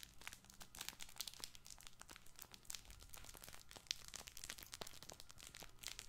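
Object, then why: Fabric baby ball with crinkle lining. A soft multicolored fabric crinkle baby ball with star patches and tags is squeezed and rubbed with fingers. It gives a quiet, continuous run of dense, bright crinkling and crackling with a faint low rumble underneath. The sharp, dry crackles stop instantly without ringing.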